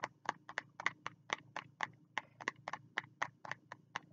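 A fingertip taps on the cover of a small green spiral notebook held at the chest. Eighteen quick, dry, bright taps come in a loose, uneven rhythm, each dying out almost at once.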